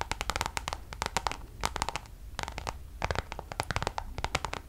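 Long nails scratch and tap across a Louis Vuitton Damier checkered coated canvas zip pouch, near its zipper edge. The result is clusters of quick, dry, bright scratches and clicks with short pauses between bursts, each sound dying away almost instantly, over a steady tone around 890 Hz and a low rumble.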